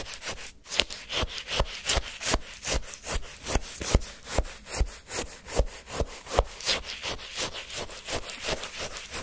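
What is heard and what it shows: A wooden stick digs and scrapes into frozen orange shaved-ice sherbet in a paper cup, then scoops up a lump. The scraping comes as steady, crunchy strokes with a gritty, bright texture and a light low thump on each pass through the crystalline ice.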